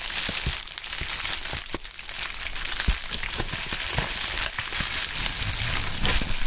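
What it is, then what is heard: Plastic bubble wrap being crumpled. A large sheet of pink anti-static polyethylene bubble wrap with air-filled bubbles is crumpled, twisted and squeezed by gloved hands with bare fingertips. A steady, bright, hissy crinkling runs throughout, broken by scattered sharp snaps and pops at an irregular pace.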